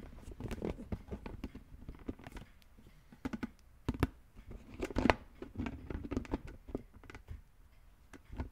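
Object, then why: Plastic brain-shaped toy lid. A hollow green plastic brain-shaped lid on a red plastic skull container is tapped and rubbed with the fingertips while one hand is cupped over the top. The result is an irregular run of soft, dull plastic taps mixed with crinkly, scratchy rubbing, with a few sharper clicks standing out. Each tap stops short with no ring.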